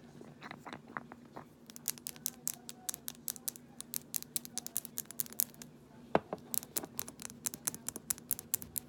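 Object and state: Amber glass dropper bottle.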